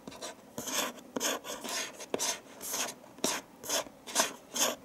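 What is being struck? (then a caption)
Cardboard gift box lid. Fingertips and nails rub and scratch across the closed lid of a medium printed cardboard gift box with a Christmas pattern and a green ribbon bow, resting on a dark table. Repeated bright, raspy scraping strokes come in uneven bursts, each opening with a short sharp tick and fading quickly, with almost no low end.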